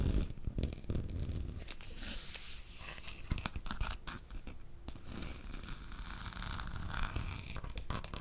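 Fingernails scratch and tap along the long, hollow black plastic handle of an electric fly swatter held close to the microphone. A steady, dense, low-heavy scratching and rubbing is broken by short, sharp taps that stop quickly, with brief bright swishes now and then.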